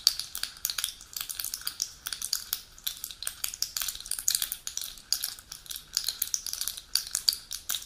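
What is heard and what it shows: Long pointed nails scratch and tap the foil back of a full aluminium pill blister sheet resting on its box. The result is a dense stream of bright, crinkly scrapes and sharp ticking clicks with almost no low end, each burst dying away instantly.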